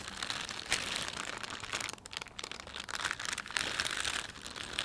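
A thin, empty plastic shopping bag with a panda print is rubbed and pressed by fingertips. The result is a steady, bright crinkling and crackling of the film, with denser bursts and a brief quieter stretch around the middle.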